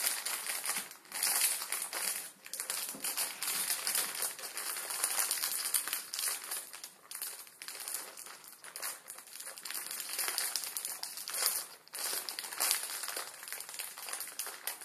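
A full plastic-film ramen noodle packet is crinkled and folded in both hands with the fingertips. The result is a steady, dense, bright crackling and rustling with no low end, swelling and easing in bursts throughout.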